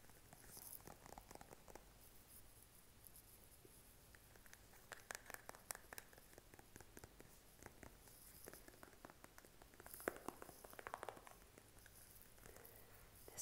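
A partly full Noxzema plastic cleanser tube, held in the hand, is tapped with short fingernails. The result is a quiet run of soft, dull, clicky taps with almost no ring, in scattered bursts over a faint steady hum, with a few sharper, brighter clicks near the end.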